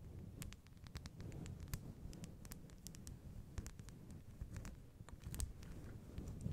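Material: Synthetic fur.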